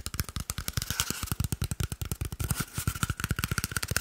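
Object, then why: Cardboard paper roll tube. An empty, hollow cardboard toilet paper tube, held in one hand, is tapped and scratched quickly with the fingertips and nails of the other hand. The result is a rapid run of short, dry, hollow thumps with a low body around 94 Hz. Brief scratchy rasps sit between the taps.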